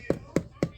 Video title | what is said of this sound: I made french bread!! 🍞 | it should sound hollow so our Bread's done